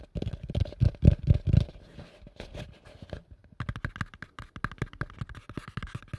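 A hollow, empty pale yellow plastic bowl, held upside down over the mic, is tapped and scratched with fingertips and nails. Fast, uneven taps make deep, dull thumps, loudest in the first two seconds. Quieter scratching follows, then lighter, clickier taps.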